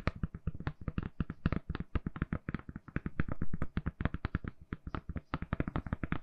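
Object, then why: Smartphone in a silicone case. A handheld smartphone in a lilac/purple soft silicone case is tapped quickly and steadily with long nails. The result is a continuous stream of short, dry, muted taps with a low thud and almost no ring.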